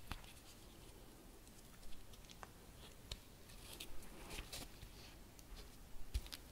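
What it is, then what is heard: Fabric-covered Christmas bauble. A round Christmas bauble covered in dark fabric with embroidered roses, a blue ribbon and small metal studs is held and turned in the hands while long red nails tap and scratch the fabric and studs. Quiet, soft scratching and irregular light taps with short bright clicks sit over a low rumbling background, with no ring after each tap.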